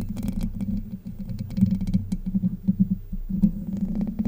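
Long white nails scratch across the hollow domed steel mesh grille of a Blue Yeti microphone, producing a dense, continuous patter of rapid scrapes. The sound is heavy and low, centered around 200 Hz, with quick rasping bursts swelling and fading throughout.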